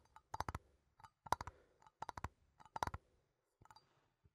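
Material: Metal.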